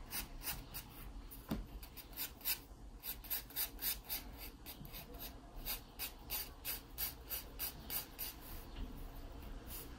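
A wooden pencil is drawn firmly across the page of an open paper sketchbook, scratching out the outline of a pear. A steady series of short, bright rasping strokes rises and falls in a regular rhythm over a low, soft background rumble.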